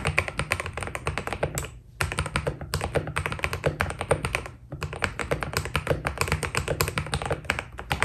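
A white Keydous NJ80 mechanical keyboard with PBT plastic keycaps is typed on with fingertips. It gives a fast, steady stream of short, crisp key taps with a deep thock underneath, with brief pauses near 2 and 4.7 seconds.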